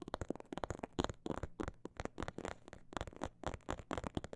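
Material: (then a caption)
Faux leather. Long black nails tap and scratch the surface of a small, hollow, soft snakeskin-print faux leather bag or phone pouch. About twenty-two quick, dull taps come in uneven fast and slow bursts, each a soft hollow thud with a low-mid body and almost no ring, mixed with faint scratchy crackles between them.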